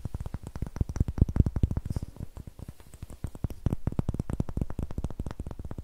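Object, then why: Pine wood block. Fingernails tap and scratch the flat faces and rough, greenish end of a solid, light, raw pine wood block held close to the microphone. The result is a fast, steady stream of dull, low, woody knocks that stop almost instantly, with faint scratchy texture between them. A brief quieter stretch comes midway before the tapping picks up again.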